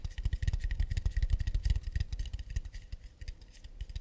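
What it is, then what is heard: Acacia wood plate. An acacia wood plate is tapped quickly and lightly in a steady, uneven stream of short, dry, muffled knocks. The taps are deep and thumpy with very little ring, and they fade slightly in loudness toward the end.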